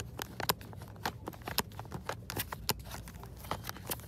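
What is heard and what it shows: Long acrylic nails tap and scratch across the front of a hand-sized retail package held in one hand: a clear hollow plastic blister over a white LED switch light on a cardboard backing card. A quick, uneven run of sharp, bright plastic clicks and short scratchy rasps, each dying almost instantly, sits over a low, steady background hum from the store aisle.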